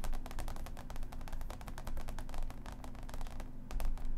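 Long acrylic nails on both hands rapidly tap and scratch across the surface of a large, blank paint-by-numbers stretched canvas board lying flat. The result is a dense, fast patter of short, dry, crisp clicks and scrapes that die away almost instantly, over a steady low hum.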